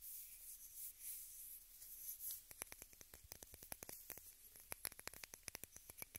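A small rectangular pink plastic case, likely hollow, is held above the recorder and tapped with long red nails. A soft, hissy rustle gives way after about two seconds to a quick, uneven run of light, bright clicking taps that stop dead with no ring.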